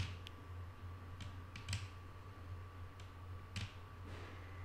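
Long painted nails of both hands tap lightly on a flat, solid wooden tabletop. Soft, sharp clicks come at scattered moments, two of them louder, over a steady low hum and a faint constant tone.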